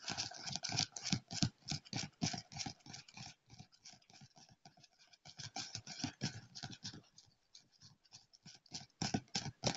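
Fingertips and nails of both hands rapidly tap and scratch the cover of a thick paper phone book lying flat on a leather armrest. The result is fast, dry, crisp patters in uneven bursts, with softer, sparser stretches around 3.5 to 5 seconds and 7 to 8 seconds.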